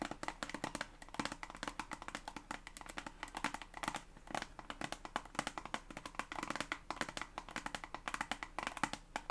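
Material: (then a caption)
Plastic. Long acrylic nails tap rapidly on a white and green soft plastic toothpaste tube, hollow and filled, held across both hands. The result is a steady stream of dozens of quick, dry, clicky taps with very short decay and a bright mid-to-high tone.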